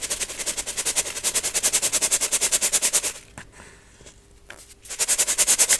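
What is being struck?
Metal mesh sieve with baking soda.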